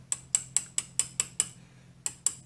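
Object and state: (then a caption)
Cast lathe base rocking on a surface plate (not flat). The cast metal compound base of a mini lathe is rocked on a surface plate, giving nine sharp, bright metallic clicks that die away almost instantly, over a faint steady low hum. The clatter shows the base is not flat: it has a slight twist and rocks on two corners.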